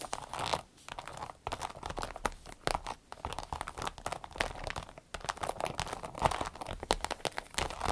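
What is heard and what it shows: Long red nails tap, scratch and crinkle a small, soft, hollow green-yellow striped glossy vinyl zippered pouch. The result is a dense stream of quick, dry crinkling taps and scratchy rustles with a bright edge, broken by a few brief quiet gaps.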